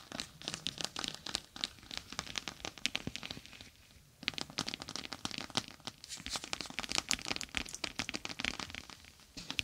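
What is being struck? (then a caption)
Plastic gel bead eye mask. A clear plastic eye mask filled with gel beads and edged with a green fabric rim rests on top of a microphone while long acrylic nails scratch and tap across the beads. The sound is a dense run of bright, crinkly clicks and rustles with very little low end. There is a brief quieter pause around the four-second mark before the scratching picks up again.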